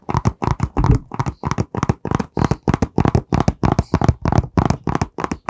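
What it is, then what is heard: Cardboard box tapped by fingertips. A long, narrow, hollow, printed white cardboard product box is held horizontally in both hands while fingertips and nails tap quickly along its surface. The result is a steady run of short, dry, hollow knocks with a low, boomy body and almost no ring after each tap.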